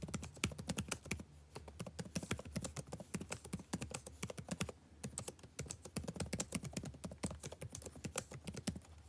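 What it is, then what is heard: Plastic laptop keyboard being typed on. Fingertips type continuously and rapidly on the blue-backlit plastic keycaps of a dark laptop keyboard. Dense, short, dry clicks and taps spread into bright highs, with a couple of brief pauses over a faint steady low hum.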